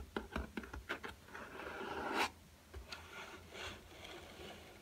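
A black hardcover spiral-bound sketchbook with a cardboard cover, a solid stack of paper, rests on a table while its cover is tapped with fingertips. A quick run of short, dull taps in the first second gives way to a rising scratchy rub that peaks near two seconds. Softer rubbing and scraping follows to the end.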